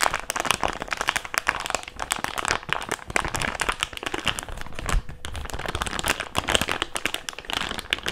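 An empty, thin-walled, hand-sized thick clear plastic bag is crumpled and squeezed between fingertips and palms. It makes a steady, dense stream of bright crinkling and sharp crackles for about eight seconds, with no pauses.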